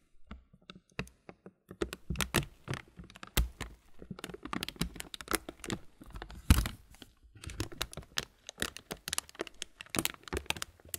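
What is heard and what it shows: A clear plastic muesli bag full of granola has its upper plastic edge rubbed and scratched with the fingertips. The result is a dense run of quick, dry crinkles and crisp scratching ticks, with some louder crackly bursts. The sound is broadband, reaching bright highs over a soft low rumble.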